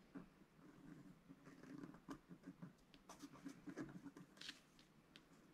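A wooden stylus stick scratches fine detail into a flat black coated scratch art paper sheet. Quiet, soft scratchy strokes come in short, uneven bursts, with a few brighter, sharper scrapes over a faint low hum.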